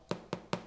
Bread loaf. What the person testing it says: quand on tape ça sonne creux c'est que c'est bon signe